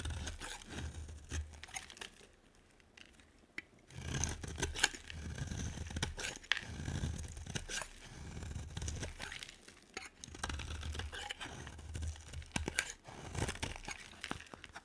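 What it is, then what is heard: Bar soap scraped with a blade. A utility knife blade scrapes curls from a solid, hand-sized white bar of soap held in a hand with long nails. Dry, crisp shaving and crinkling bursts run through the clip over a low, steady rumble, with a quieter pause around three seconds in. Each stroke cuts off sharply with almost no ring.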